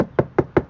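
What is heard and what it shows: Three short, dull knocks on a 2021 Tesla Model 3 SR+ trunk panel already covered with sound-dampening material. Each thud dies out almost instantly with no ringing, giving a solid, well-damped sound unlike the still-untreated, resonant trunk lid.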